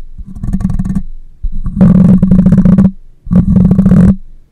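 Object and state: Metal mesh microphone grille being scratched.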